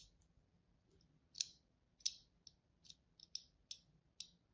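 A thin blade tip is drawn across the surface of a solid white embossed bar of soap held in the hand, cutting fine lines into it. Eight short, sharp, bright scratching clicks come at an uneven pace, each dying away almost instantly against a quiet background.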